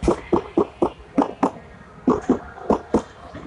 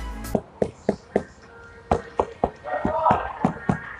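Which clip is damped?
The second.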